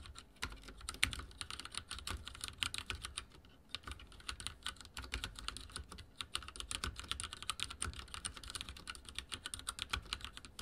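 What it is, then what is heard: Mechanical keyboard with plastic keycaps. Fingertips type very fast on a backlit mechanical keyboard with dark plastic keycaps and a silver frame. The result is a dense, continuous stream of bright, sharp clicks and clacks with a short pause near the middle. Each keystroke dies away almost instantly.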